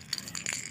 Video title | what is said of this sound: আদা লজেন্স বা candy বানিয়ে পুরানো খুশখুশে কাশি দুর করুন। Ginger candy making for remove cough. | এই দেখুন কেমন শব্দ হচ্ছে, দেখুন এই ঝনঝন আওয়াজ হচ্ছে। দেখুন বন্ধুরা, একেবারে লজেন্সের মতো।